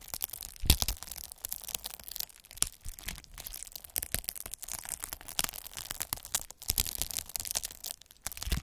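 A hand-held derma roller with a roller of fine metal needles is rolled back and forth across a large sheet of clear plastic bubble wrap, crushing and pricking its air-filled bubbles. A dense stream of bright crackling, crinkling and sharp snapping pops plays out, with brief low thumps under the louder bursts and no lingering ring.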